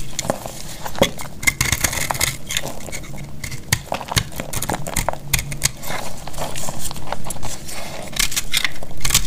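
A solid cream-colored bar of dried soap, held in the hand, is carved with a metal utility-knife blade, producing a steady run of dry, crisp scraping crackles with short, bright clicks and a low rumbling undertone. Crisp shavings fall off the bar as it is cut.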